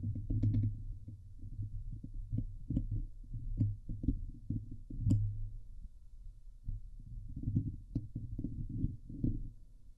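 Long glitter-painted nails on both hands scratch the hollow steel wire-mesh grille of a Blue Yeti microphone head. The result is a dense, rapid, deep muffled thumping and scraping, close-miked and heavy in the lows, with occasional sharper clicks that briefly reach brighter tones.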